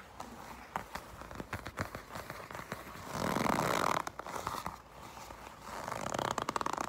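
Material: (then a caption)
Leather. A black leather jacket is bunched in the hands, gripped and scratched with long pink nails. Scattered light taps and soft creaks lead into a louder, dense crinkling rub midway. The taps briefly return, then a second stretch of scratchy rubbing closes the clip.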